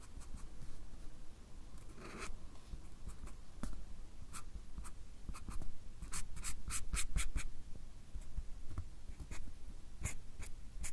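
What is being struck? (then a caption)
Paper card pad with fine-tip pen. A fine-tip pen makes short, scratching hatch strokes on a small white paper or card pad held steady, producing quick, bright scratches over a low, steady rumble. Bursts of strokes cluster more densely in the middle of the clip before thinning out again.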